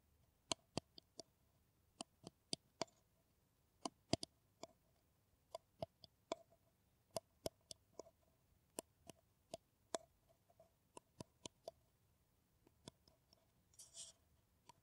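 Long nails tap an empty, hollow brown paper coffee cup held in both hands. About thirty short, sharp, dry ticks with a bright top come at an uneven pace with quiet gaps, and a brief scratchy rustle near the end.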